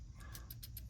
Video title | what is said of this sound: How to Use the Triad Mechanical Pencil V1 | shake it to make sure I can hear that there's some loose lead in there